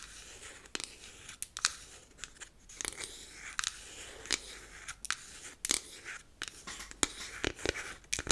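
Long acrylic nails tap and scratch the sides and top of a hollow, square, unfinished beech-wood powder compact. Quiet, bright, crisp clicks stand out over a soft, scratchy hiss. Each tap is short and dry, with no ring.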